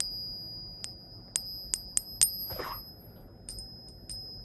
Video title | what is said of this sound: Gold & Silver Get Monkey Hammered! (Again) 12/05/22 Gold & Silver Price Report | hear that that's real silver